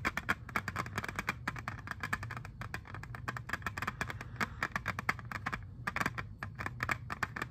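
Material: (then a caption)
Plastic. Fingertips and nails tap and scratch the surface of a small, flat, hollow, clear hard plastic jewel case holding an Xbox 360 game disc. A rapid, steady run of sharp, dry clicks with bright, crisp highs and a faint low hum beneath stops quickly after each tap.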